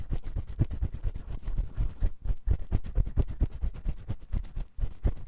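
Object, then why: Silicone ear of a binaural microphone, scratched with a metal spiral pick. A metal spiral ear pick scratches inside the ear canal of a white silicone ear on a 3Dio microphone. The result is a rapid, uneven series of dull, close-up scraping and rubbing strokes that stay heavy and muffled in the low end.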